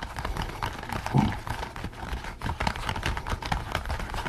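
Both hands scratch the top of a pink latex pig mask worn on a bowed head, using nails and fingertips. The result is a dense, continuous run of rubbery scratching and squeaky rubs, with a low muffled thump beneath and light, bright crackle on top.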